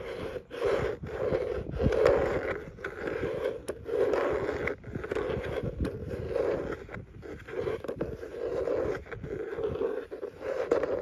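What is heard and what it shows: A fingertip and nail scratch and rub across the raised ribbed texture panel on the closed lid of a cream hard plastic tackle box. Repeated rasping strokes swell and fade in a steady rhythm, with a hollow midrange tone around 500 Hz under a dry, fine scratching texture and occasional sharp ticks.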